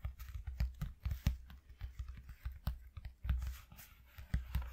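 Fingertips with short nails tap fast with both hands on a flat white corrugated cardboard piece lying on a dark cloth. The taps are quick, dull, low thumps with a faint papery crackle, and each one dies away almost at once.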